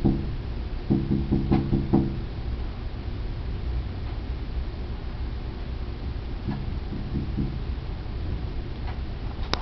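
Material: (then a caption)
Glass. A glass surface is tapped repeatedly, giving dull, short knocks with a brief low ring. A quick burst of taps comes in the first two seconds, then a few softer, scattered taps follow over a steady low background hum.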